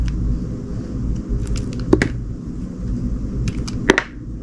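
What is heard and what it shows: A metal utility knife shaves slices from a solid, red, translucent, gingerbread-shaped glycerin soap bar held in the hand. Soft, short scraping ticks sit over a steady low rumble, and two sharper, brighter cuts stand out near the middle and the end.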